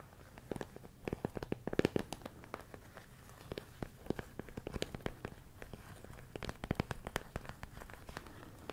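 A medium clear plastic storage container full of rice grains is tapped with fingertips and nails. Quick, irregular dry clicks and soft taps come in clusters, each dying away at once with no ring. The sound sits mostly in the low and middle range, with little brightness on top.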